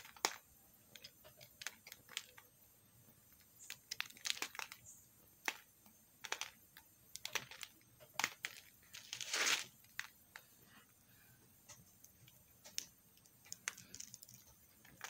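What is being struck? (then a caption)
Bar of soap scraped by a metal knife. A metal knife scrapes a small remaining chunk of pink soap into flakes. Quiet, bright, crisp scraping clicks and short rasps come in scattered bursts, with a longer, louder scrape near the middle.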